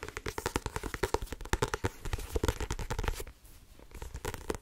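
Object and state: Paperback book, tapped.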